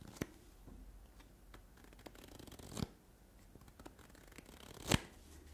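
A solid stack of paper playing cards, with no box, is held between the fingers while fingertips and nails tap and flick fast along the card edges. Soft, dry ticking and rustling runs throughout, broken by three louder, sharp flicks that die away almost instantly.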